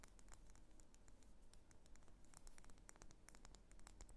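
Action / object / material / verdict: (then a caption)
tap / wax pillar candle / wax / none. A medium, solid pink wax pillar candle held in the hands is tapped and scratched with long fingernails. Quick, dry ticks and scratchy brushing sounds give off sharp, bright clicks over a quiet, low background rumble.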